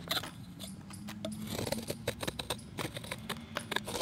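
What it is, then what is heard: Chalk block being scraped. A palm-sized, solid round disc of pale grey-white chalk is held in one hand while a steel utility knife blade shaves and scrapes its edge, and flakes fall into a bowl of chalk debris. Many quick, dry, bright scraping strokes and crisp ticks come in an uneven rhythm over a faint, steady low hum.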